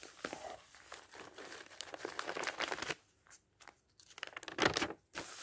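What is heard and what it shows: The fingertips of a ringed hand turn and brush the thin printed pages of a thick open dictionary. Crisp papery rustles and crinkles, mostly bright with little low end, run through the first three seconds. After a near-silent pause, a louder sweeping swish of a page turning follows.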